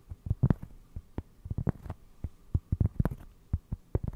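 A round solid cork trivet held behind the mic is tapped and scratched with fingertips. The result is a series of soft, dull, low thuds with almost no ring, separated by faint scratching.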